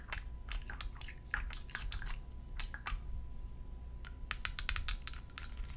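A palm-sized, faceted purple glass perfume bottle with a round purple cap, made of solid thick glass with liquid inside, is held in both hands and tapped with long gold metal filigree nail claws. Quick, bright clicking taps come in irregular bursts with a brief lull in the middle, each dying away almost instantly over a faint steady hum.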